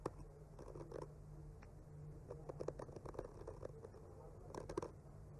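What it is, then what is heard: Painted wooden panel. A bamboo skewer slowly scratches and traces across the surface of a solid, flat wooden panel painted with trees. It makes quiet, soft scratching with scattered light ticks and clicks over a steady low hum.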